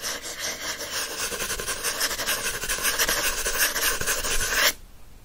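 Fingernails scratch the glossy card back cover of a teal paperback book lying back cover up. The sound is a dense, bright, raspy scratching with quick uneven strokes, roughly four per second, that slowly grows louder. It stops abruptly near the end, leaving only faint hiss.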